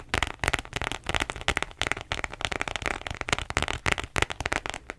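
Long nails scratch the textured surface and the metal-trimmed side of a beige croc-embossed faux leather wallet. The result is a rapid, dense run of short, sharp, bright scratching and crackling clicks with little ring.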